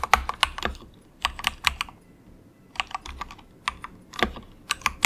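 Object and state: Plastic mechanical keyboard.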